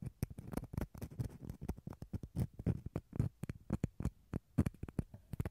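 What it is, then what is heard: Dried gourd shell half. A wooden toothpick scratches the fibrous interior of a small, hollow, empty dried gourd half. About thirty short, dry scratches come in quick, uneven succession, each with a dull, low, woody tone and almost no ring or bright edge.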